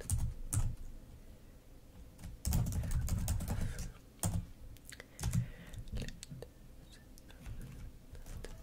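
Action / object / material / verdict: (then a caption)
tap / plastic laptop keyboard / plastic / none. Long nails and fingertips type and tap on a black plastic laptop keyboard. Irregular, quick clicks come with dull low thumps and bright clicky edges that stop almost at once. A denser burst of typing comes in the middle before it settles back to scattered taps.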